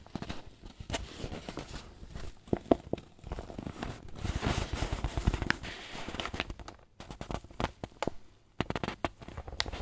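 Fingertips rub and crinkle a wrinkled white paper bag that seems to be filled with flour, then both hands squeeze it. The result is a steady, dense crackle of papery rustling, broken by sharp, bright snaps and a few brief pauses.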